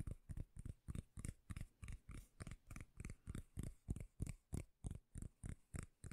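A round, flat, solid palm-sized cork lid is held in one hand close to the mic while long painted nails tap and scratch its surface. The result is 21 steady, deep, muffled thumps at about three per second, each ending quickly with a faint bright scratchy edge.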